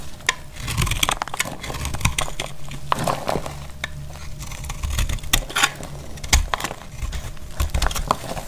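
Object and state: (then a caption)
Dry soap bar. A metal blade cuts through a solid, dry green-yellow soap bar, sending crumbly chunks cracking off. Sharp, bright cracks and clicks come in quick succession over a dry cutting scrape, with a steady low rumble underneath throughout.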